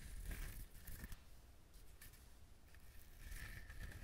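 Fingertips scratch and rub the fibrous husk of a whole trimmed coconut held close to the microphone. The result is soft, dry, scratchy rustling with brief crackly bursts over a low, muffled rumble, rising a little again near the end.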